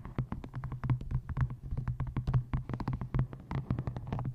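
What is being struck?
Paperback book.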